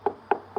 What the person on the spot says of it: you hear that that's wood